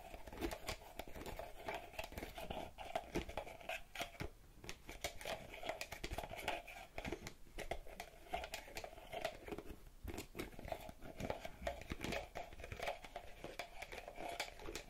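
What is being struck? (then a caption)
Small plastic bottle with a cap. A small purple plastic bottle with a pink cap is held up close to a microphone and tapped and scratched with long red-painted fingernails. Quick, dry clicks and crinkly scratching run densely and steadily for the full fifteen seconds, with a hollow plastic tone near 570 Hz and a bright, scratchy edge. Each tap dies away almost instantly, leaving a busy, close-up tapping texture.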